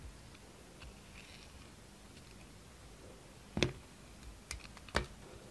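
A yellow utility knife slices the surface off a rectangular solid soap bar with black and white stripes and a dark coating, held in the hand. After a quiet, faint stretch, four short, crisp cutting clicks sound with sharp, bright edges and almost no ring.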